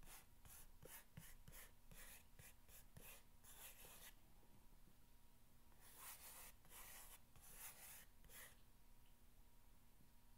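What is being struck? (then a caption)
Corrugated cardboard box. An index fingernail scratches along the top of a long, hollow corrugated cardboard box, making a series of short, bright, rasping strokes. After a quieter pause in the middle, a few longer scratches follow, all over a faint, steady low hum.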